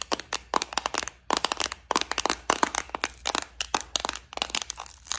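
Long nails tap, scratch and press on a small, clear plastic multi-compartment bead organizer filled with gold beads. Rapid, crisp clicks and scratchy crackles repeat in quick bursts with very short decay. The sound is bright and high, centered around 965 Hz, with almost no low end.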